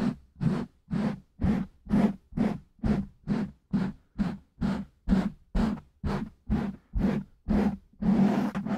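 Fingertips of both hands scratch and rub the sides of a black foam windscreen on a silver microphone. Rapid, evenly spaced scratchy strokes, roughly two per second, each have a low muffled body and a bright hiss. The strokes merge into a continuous rub at the end.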